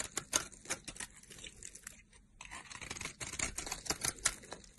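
A solid pink rectangular soap bar, held in a hand with long purple nails, is carved with a utility knife blade. The result is a rapid run of crisp, bright scraping and shaving cuts with little low end, each stroke dying away almost at once. There is a brief quieter pause just past the midpoint.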